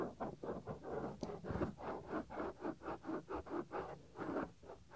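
Fingertips rub and scratch the small, solid white soft silicone ear cover on a 3Dio binaural microphone. A quiet, muffled series of rhythmic scratchy strokes swells and fades in the low-mid range, with little bright content.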